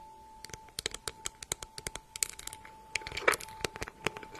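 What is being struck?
Embossed faux leather handbag.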